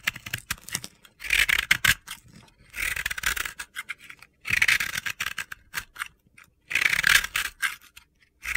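A palm-sized, crumbly pressed-powder bath bomb, yellow and pink and possibly sold as soap, is held in the hand and scraped and shaved with a metal utility-knife blade, and powder falls off. Bright, gritty scraping comes in several longer bursts, with short, dry scratchy ticks between them and no ring after each stroke.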